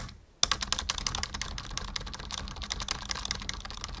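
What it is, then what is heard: Plastic computer keyboard. Fingertips type on the letter and arrow keys of a black full-size plastic membrane keyboard resting on a wooden desk. After a brief quiet start, a steady run of quick, bright clicky taps follows for about three and a half seconds, each dying away almost instantly.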